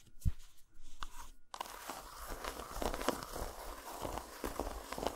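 Long nails scratch and tap a solid dark chocolate bar resting on a towel, first on its segmented side and then, after it is flipped, on its dotted underside. Dull, low taps mix with dry, brushing scratches that die away almost at once, with a brief quiet gap early on before steady scratching and tapping continue.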